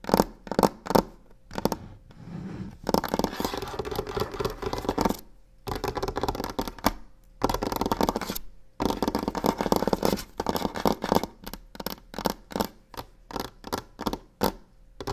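Long pink nails tap and scratch the surface of a large, solid varnished wooden tabletop. Sharp, dry taps open the clip, followed by several stretches of rapid, dense scratching. The clip ends with scattered taps.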